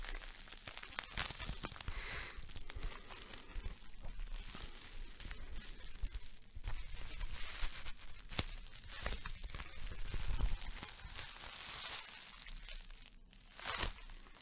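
A small piece of clear plastic bubble wrap is held in both hands, crumpled and squeezed with the fingers until its bubbles pop. Steady crinkling and rustling runs throughout, broken by sharp, bright pops and crackles over a low, quiet rumble.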